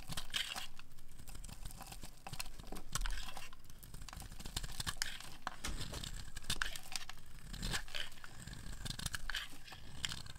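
A metal blade scrapes the corner of a solid, dry orange bar of soap held in the hand, cutting off crunchy curls. Dense, dry crackling and crunching scrapes run steadily with bright, brittle edges over a low, muffled rumble, each stroke dying away almost instantly.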